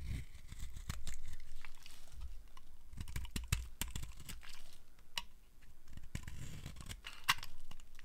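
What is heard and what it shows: A metal blade scrapes across the surface of a solid, dry black soap bar, shaving off brittle flakes. Crisp, dry crackling and sharp clicks sound over a soft, low rumble. Brief, brighter snaps stand out now and then as the flakes break away.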